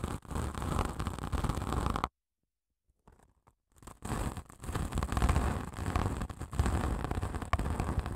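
Long acrylic nails scratch along the gritty surface of a long grey padded emery nail file, which has abrasive grit over a foam core and is held in both hands. The result is a dense, rough, low-heavy rasping. It stops dead for about a second, returns faint and broken, then builds back to steady scratching.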